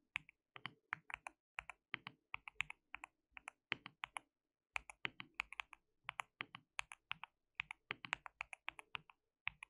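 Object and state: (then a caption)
Mechanical keyboard with plastic keycaps. Fingertips of both hands type continuously on a white mechanical keyboard with plastic keycaps, producing about 52 quick, crisp clacks with almost no ring. The bright, clicky keystrokes center around 2.5 kHz over faint low thumps. They come in uneven bursts at a low level, with a brief pause near the middle.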